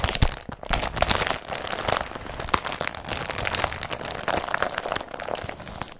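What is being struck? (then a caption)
Woven polypropylene carrier bag. Fingertips and nails crumple an empty blue woven polypropylene IKEA BRATTBY carrier bag with straps and press it flat on the surface. The result is a dense, continuous crinkling and crackling with many sharp, bright snaps over a soft low rustle, each snap dying away almost instantly.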